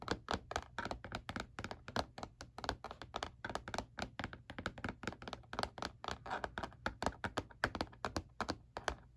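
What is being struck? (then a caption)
Plastic calculator casing. Fingertips and nails tap rapidly on the back of a black hard plastic calculator lying face down, its hollow casing answering each tap. The result is a steady stream of short, dry, hollow clicks and thunks with a bright edge, each dying almost instantly over a faint constant low hum.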